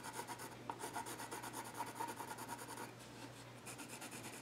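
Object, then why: Graphite pencil on a wooden stool top. A yellow graphite pencil scratches and shades across the flat top of a solid, dark-stained wooden child's stool. Quick, rhythmic, scratchy strokes carry a steady mid tone near 940 Hz with a bright, hissy edge. They fade briefly near the three-second mark, then return lighter and higher.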